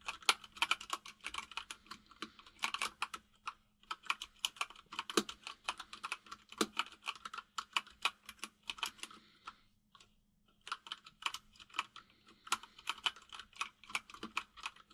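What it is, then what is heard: Mechanical keyboard with plastic keycaps. A white full-size mechanical keyboard with plastic keycaps sits on a desk and is typed on rapidly with the fingertips of both hands. Quick, bright, clicky taps come in dense bursts, with a brief pause near the ten-second mark before the typing resumes.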